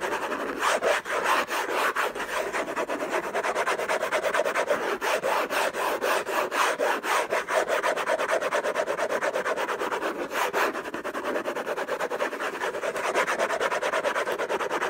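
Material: Cardboard.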